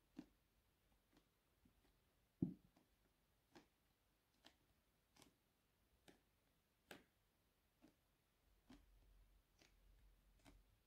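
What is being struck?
Soft plastic squeeze tube of face scrub.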